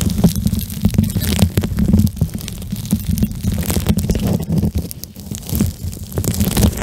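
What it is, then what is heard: Gel bead eye mask squished and rubbed. A pink plastic gel bead eye mask is squished over a microphone head and rubbed with fingertips, then held up in both hands. The result is a dense, low, muffled squishing and rumbling, dotted with many quick crackly clicks and occasional bright scratchy flicks.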